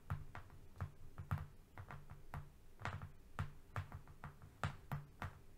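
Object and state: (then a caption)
Flat cardboard sheet. A long, thin, flat strip of brown corrugated cardboard, not a box, lying on a fluffy rug, is tapped and scratched with the fingernails of both hands. The result is a quick, irregular run of soft, dull taps with a low, hollow thump and dry scratchy ticks that die away almost at once.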